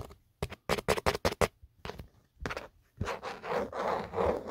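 Fingertips and short nails scratch across the textured geometric inner surface of an empty black plastic/rubber phone case, a phone-sized hollow shell with a camera cutout, in a quick run of short, separate, rasping strokes. They then rub the smooth matte outer back in longer, continuous, airy scraping sweeps.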